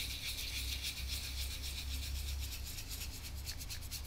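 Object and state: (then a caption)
Oil painting on canvas being brushed. A gloved hand rubs the cracked paint on the face of an old oil portrait on canvas, lying flat, in small strokes with a soft brush or swab on a yellow wooden handle. The result is a steady, soft, scratchy rubbing with a bright hiss on each loosely regular stroke, over a constant low hum.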